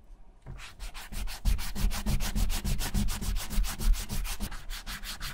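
A white rubber eraser is rubbed vigorously back and forth over a small, flat, closed brown leather bifold wallet lying on a white surface, leaving eraser crumbs around it. It makes a steady series of quick, dry scrubbing strokes, about three per second, with a soft low rasp under each pass.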